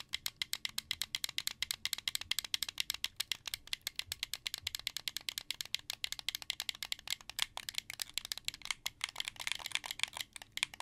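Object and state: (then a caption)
Plastic game controller. A hand-held, hollow, translucent blue plastic Xbox 360 controller has its face buttons and thumbsticks pressed by fingers, then its triggers clicked. The result is a rapid, steady stream of short, bright plastic rattling clicks with almost no low end and no ring after each click.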